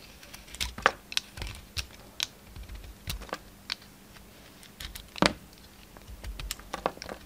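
A pink utility knife blade shaves and cuts a solid round ribbed soap bar with a red coating and pink inside, held in the hand. Short, crisp scraping and cracking clicks with bright, crinkly edges sound one after another over a quiet, faint low hum. One snap near the end stands out as the loudest.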